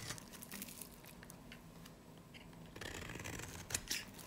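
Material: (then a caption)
Soap. A solid, dry, varnished light green soap bar is held in the hand and shaved with a snap-off knife blade. Quiet, bright, dry scraping and crisp crackling flakes continue throughout, growing louder in the last second and a half with a couple of sharper snaps near the end.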